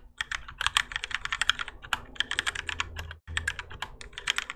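Two hands type continuously with their fingertips on a Keychron K4 compact mechanical keyboard with Gateron Yellow switches, grey and orange ABS plastic keycaps, and a plastic and metal case, resting on a desk mat. A fast, uneven stream of short, bright, clacky keystrokes plays over a faint steady low hum, with a brief silent gap just after three seconds.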